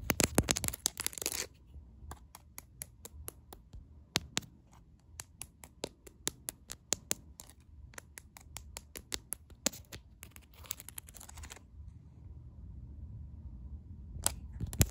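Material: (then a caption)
Plastic. Long acrylic nails tap and scratch across the bumpy, large faceted rhinestones covering a clear plastic case on a smartphone held in one hand. Bursts of dense, rapid scratching at the start and again near the end frame a long run of quick, sharp, bright clicking taps over a low background hum.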